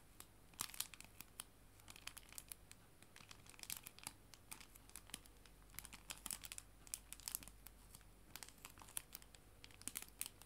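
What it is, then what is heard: Clear plastic cello bag. A clear plastic cello bag, a sleeve holding paper art prints, is crinkled with fingers and nails. Many quick, sharp, bright crackles come in dense bursts over a faint low hum, with no talking.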